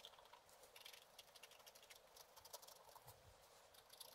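A wooden stylus scratches a black-coated scratch art card lying flat in short strokes, scratching out a picture of water lilies in a pond. The result is a quiet, steady run of dry, bright scratching ticks and rasps with almost no low end, each stroke cutting off quickly.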